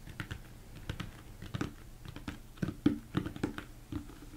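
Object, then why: Upside-down plastic mixing bowl. A large, hollow, empty mixing bowl, likely plastic, sits upside down and is tapped with fingertips and thumbs. The result is an irregular run of soft, dull taps with a hollow low tone around 300 Hz and very little ring after each hit.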